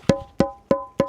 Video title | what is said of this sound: 루프탑텐트의 혁명이라고 ? 혼자서도 설치와 탈거가 가능한 초경량 명품 루프탑텐트 캐스퍼에 설치해봤습니다. 심지어 에어텐트야! 도메틱TRT140AIR | 쇠 파이프 두드리는 그런 소리가 나고